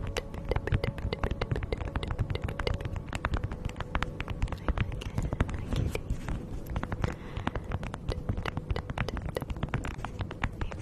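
A thin beeswax-coated fabric food wrap, draped over a fluffy microphone windscreen, is crinkled and rubbed by two hands with long nails. Dense, rapid crackles and sharp clicks sound over a steady low, rumbling handling noise close to the microphone.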